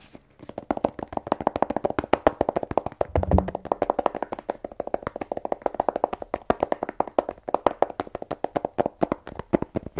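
Fingernails tap rapidly on the face and top of a small black rigid cardboard iPhone 12 Pro box, hollow with the phone still inside. Dozens of quick, dry clicks ring with a hollow midrange tone and die away almost instantly, with a deeper, duller knock around the three-second mark.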